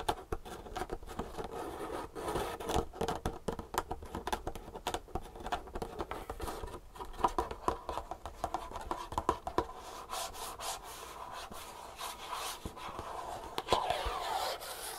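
Long natural nails tap and scratch quickly along the edges and sides of a small green and black printed cardboard Superfeet shoe insole box, likely hollow, held on a wooden table. Dense, dry, papery taps and scrapes sit mostly in the midrange around 1 kHz, with short hollow knocks and brief bright scratchy bursts. Each tap dies away almost instantly.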